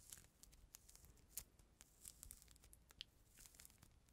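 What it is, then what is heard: Peeled mandarin orange, pith scraped. Fingertips and nails scratch and peel the white pith and membrane from a small, solid, whole mandarin orange with its peel removed, held right at the microphone. Quiet, close, crisp tearing and crinkling scrapes with sharp, bright ticks scattered throughout over a faint low rumble.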